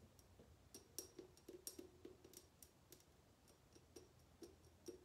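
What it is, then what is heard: Glass bottle, mostly empty. Long painted nails tap and click on the body of a tall, clear, mostly empty glass bottle held in the hands. The quick, irregular taps make short, bright clicks with a faint glassy ring around 360 Hz that dies away almost at once.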